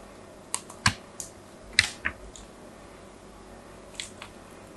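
A small metal blade scratches and scores a solid white soap bar with an embossed logo, held in the hand. Seven short, crisp, bright scraping clicks come at uneven intervals, each dying away almost at once against a quiet background.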